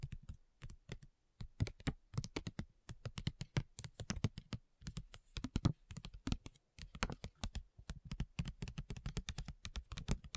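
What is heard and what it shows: Long nails tap quickly on a flat printed plastic/foil sheet mask packet, a facial mask pouch. A fast run of short, dry, clicky taps comes in uneven bursts with brief pauses, each with a soft low thump under a bright crisp tick and no ring.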